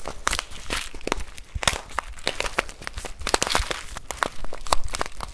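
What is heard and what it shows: A full plastic bag of rice, held in both hands, is squeezed and scratched with fingertips and nails. The result is a dense run of crinkly, crunchy snaps and rustles with bright, crackling edges over a soft low rumble.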